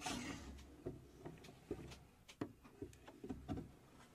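Long acrylic nails scratch and tap the back panel of a hollow plywood puzzle safe model, whose door is later shown open. A soft, woody scratching runs throughout, broken by a series of short, dull knocks with brief bright clicks.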